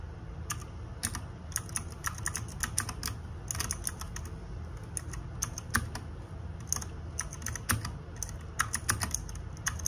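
Fingertips and nails type on the plastic keycaps of a small RGB-backlit 60% mechanical keyboard. It gives quick bursts of sharp, bright clacks with short pauses between runs, each click dying away almost at once. A steady low rumble runs underneath the whole time.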